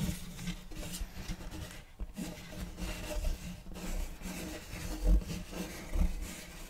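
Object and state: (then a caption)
Wooden serving tray scratched with fingernails. Fingernails scratch across the surface of a large, flat, round wooden serving tray with a checkerboard block pattern, solid and empty. The result is a steady, dry, low rubbing and rasping texture with a few quiet gaps. Two louder bumps stand out near the end.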